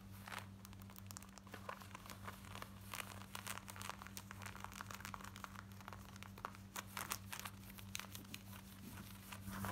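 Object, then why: Denim jeans fabric. Long nails scratch quickly across the front and hip of worn black denim jeans, making dense, rapid rough scratching and crinkly rasps with bright edges. A steady low hum runs underneath throughout.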